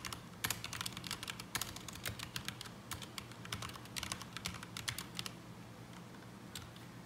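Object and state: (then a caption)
Mechanical keyboard with ABS plastic keycaps. Fingertips of both hands type on a black mechanical keyboard with ABS plastic keycaps resting on a desk mat, producing quick, bright, sharp clacks with very short decay over a faint low hum. The typing is dense at first, then thins out near the end as a hand moves away, leaving a single late click.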